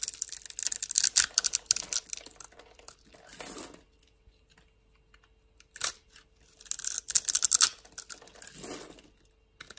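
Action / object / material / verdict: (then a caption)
scrape / bar of soap / soap / none. A solid rectangular green bar of soap, held in a hand with long lilac nails, is scored into small cubes and scraped with a metal blade. Crisp, bright scratching and crackling comes in two dense bursts, each followed by a softer, lower rasping scrape, with quiet pauses between.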